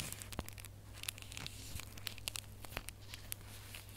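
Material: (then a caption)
Metal foil. Bare fingernails scratch and crinkle the red holographic foil on a small gift box ornament held up close. The result is a quiet stream of sharp, bright crackles and rustles over a steady low hum.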